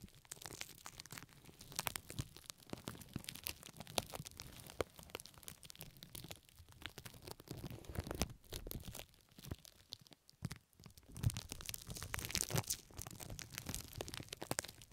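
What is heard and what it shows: Thin pink-tinted plastic cling film, wrapped loosely over both ears of a binaural microphone, is scratched, squeezed and rubbed by long red-painted nails and the fingertips of both hands. Dense, close crinkling and crackling runs throughout with many quick, bright ticks over a low rumbling rustle. There is a brief quieter lull near the ten-second mark before the crinkling picks up again.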